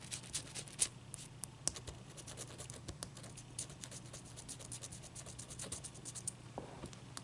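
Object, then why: Ice cube scratched with fingernails. Long dark-painted nails rub and scratch a large, clear, solid ice cube resting on a towel. The result is a soft, steady stream of crisp, bright scratches and light ticking taps, with a few sharper clicks over a faint low hum.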